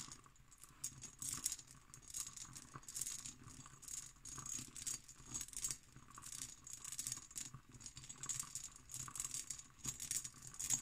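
An empty, hollow hobnail-pattern cut glass decanter with a glass stopper is tapped and scratched with long green nails. The result is quiet, rapid, bright rattling clicks and scratchy patter with short, sharp glassy ticks that die away almost instantly.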